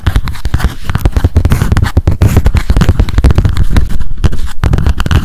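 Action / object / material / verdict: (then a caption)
tap / small spiral-bound paper memo notebook / paper / none. Long acrylic nails rapidly tap and scratch a small pink spiral memo notebook held upright. The result is a dense, continuous stream of quick, dull, low thuds mixed with scratchy scraping, each tap dying away almost at once.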